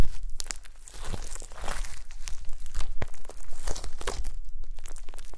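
Long pastel nails and fingertips press, poke and squish a soft, solid mound of gold glitter slime on a white table. The clip is a dense run of crackly, crinkling pops and sticky squelches with bright, sharp clicks throughout, holding a fairly steady level over about five seconds.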